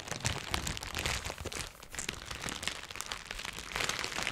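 Crinkly iridescent plastic cellophane gift wrap around a small gift is held and crumpled with the fingers. The result is dense, bright crackling and crinkling with many quick snaps and a low rumble underneath.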